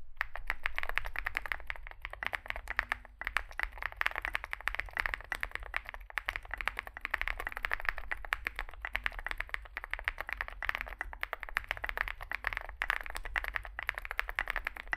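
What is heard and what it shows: Both hands type continuously with their fingertips on a compact 65% Zoom65 mechanical keyboard resting on a desk mat; it has an aluminium case, foam filling, lubed switches and SA plastic keycaps. The result is a dense, steady stream of short, crisp clacks centred in the upper mids, with each keystroke dying away almost instantly. A faint low rumble runs underneath throughout.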